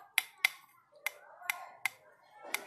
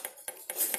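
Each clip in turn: First: Six light, clicky taps that stop at once with no ring, the dull plastic-like knock of a carbon fork. Second: Four crisp metallic taps with a bright high ring, typical of an aluminum bicycle fork rather than carbon.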